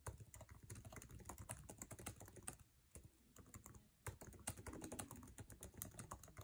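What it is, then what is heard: Laptop keyboard typing. Fingertips tap fast on a MacBook Air laptop keyboard with plastic keycaps in an aluminum chassis, producing a dense run of short, dry clicks with bright edges and a soft low thud under each keystroke. The typing briefly thins out twice before picking back up into a steady rapid patter.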